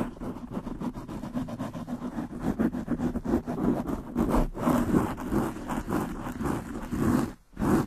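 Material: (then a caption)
Foam. Long nails on both hands scratch fast over a black foam windscreen on a desktop microphone. The result is a dense, continuous rustling scratch, heaviest in the low-mid range, that swells and fades in uneven bursts. It briefly drops away near the end before a final loud burst.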